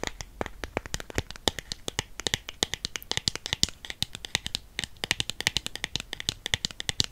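Long painted nails tap and scratch on a small, hollow, black cardboard MAC matte lipstick box, producing a rapid stream of about 55 dry, sharp clicks. The clicks are bright, with very little low end, and each stops almost instantly, with faint scratching between taps.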